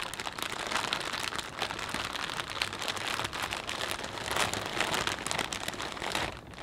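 A full, clear plastic bag of potato chips is pressed and squeezed with the fingertips of both hands. A steady, bright crinkling of the plastic mixes with dense crunching of the chips inside, continuing without pause for the whole clip.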